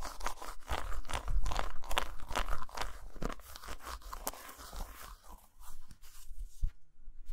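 Long nails tap and scratch a solid dark chocolate bar resting on a towel, which is flipped from its dotted underside to its segmented top. Quick, irregular crisp taps and scratchy strokes come with dull low thuds, easing to a softer stretch near the end before a final few taps.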